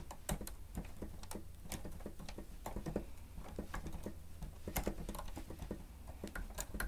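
Keys on a grey plastic stenotype machine with a screen are pressed rapidly with the fingertips and nails of both hands. Quick, dry plastic clicks and taps patter unevenly over a steady low rumble. Each tap has a bright edge and dies away almost at once.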